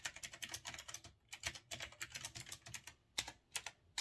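Fingertips type fast on a retro typewriter-style mechanical keyboard with round backlit keycaps and a metal-look body. About 25 sharp, bright clacks come in quick bursts with brief pauses between them. Each keystroke is crisp and dry, with little low end and almost no ring.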